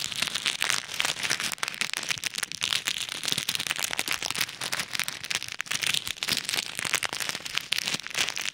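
A small clear plastic bag full of pink and white plastic pearl beads is held over an ear microphone while fingertips press and rub it, making the beads crackle and shift inside. The result is a steady, dense stream of fine crinkling and clicking that is bright and crisp, centred around 3 kHz with almost no low end.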